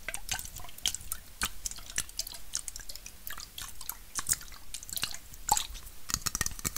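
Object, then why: Aluminum bottle-shaped can. A red aluminum bottle-shaped Coca-Cola can, hollow and held horizontally with its fill unseen, is tapped with fingernails along its body. A quick, uneven run of sharp, bright clicky taps is heard, each with a faint metallic ping that dies away almost at once.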